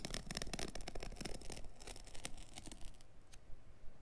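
Fingertips and a palm rub and scratch across the pile of a small, dark, synthetic-pile carpet offcut resting on a cutting mat. The result is a dense run of quick, bristly scratching strokes with bright crackle over a low rumble. The strokes thin out and grow quieter toward the end.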